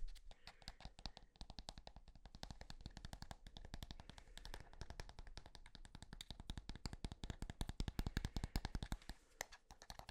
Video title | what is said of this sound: ASMR Tapping On EVERYTHING | never really thought about the material that tubes of toothpaste are made of but like this thick plastic it's kind of unique